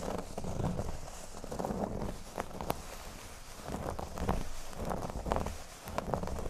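Fingernails scratch the surface of a flat, thin, solid cork board lying on a table. Soft, rasping scratches come in uneven waves over a low, muffled rumble, with occasional brief sharp ticks where a nail catches the cork.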